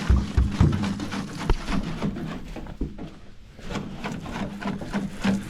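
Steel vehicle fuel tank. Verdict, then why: Dry. An old, empty steel fuel tank from a 1968 Ford F250 truck is shaken by hand and then on the ground, giving low, hollow rattling thumps as the loose dust and dry debris inside tumble around. No liquid sloshes, because the tank is dry and holds only loose junk.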